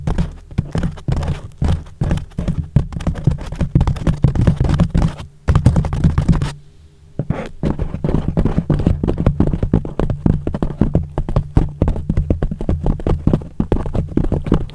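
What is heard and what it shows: Fingertips and nails tap and scratch the top and sides of a thick, soft yellow foam sheet wrapped loosely over a microphone, hollow around the mic. The result is a dense run of muffled, boomy thumps and soft scratchy rustles, almost entirely low and dull with no bright edge. Brief pauses come near 5.4 seconds and again from about 6.6 to 7.3 seconds.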